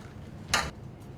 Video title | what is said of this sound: Taller De Evacuación Subterráneas | sonido metálico nos indica que se trata de una roca sólida